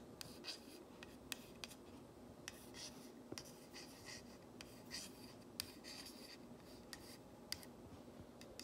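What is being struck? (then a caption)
Painted wooden plank sign. A flat painted wooden plank sign reading "If MaMa ain't happy," with a wire hanger, lies on a cloth while fingernails trace and scratch over its painted letters. The sound is a quiet, dry, bright scratching and rubbing, broken by many short, sharp clicks of nail on wood.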